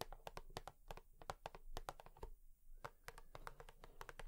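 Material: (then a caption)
Cardboard. A cardboard tissue box is tapped quickly with long nails, giving a steady series of short, dry clicks. The taps have a hollow, papery knock with most energy low down and a faint tone around 770 Hz. Each tap dies away almost instantly, with some bright clicky edges on top.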